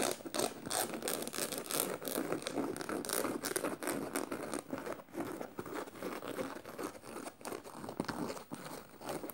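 Clawed nails scratch across a black canvas tote bag studded with metal studs, rubbing both the fabric and the studs. The result is a continuous, irregular rasping and crinkling with quick scraping strokes, mostly midrange with bright, papery edges and almost no low end.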